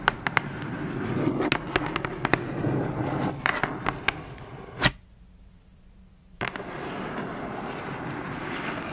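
Long fingernails on both hands tap and scratch the printed surface of a closed black cardboard shoebox lid. Sharp, irregular dry clicks sound over a steady papery scratching hiss, then break off into near silence before one more tap. The scratching then resumes.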